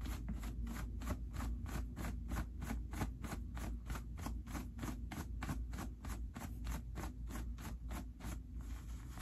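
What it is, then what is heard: Cotton denim jeans pockets being rubbed. Fingertips pull the white pocket linings out of dark stretch cotton denim jeans and rub them. The result is a steady, even series of soft brushing and scraping strokes over a constant low hum.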